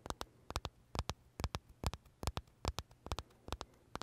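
Short fingernails tap and scratch the crisp shell of a large purple blueberry macaron from Starbucks held close to the mouth, making nineteen sharp, dry clicks that mostly come in quick pairs. Each tap is bright and dies away almost instantly over a faint, steady low hum.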